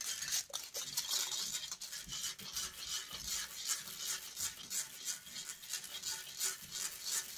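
Long acrylic nails aggressively scratch and rub the metal wire-mesh grille of a silver USB microphone. The result is a dense, bright, close-up rasping with almost no low end, pulsing in quick, uneven strokes about three per second at a steady loud level.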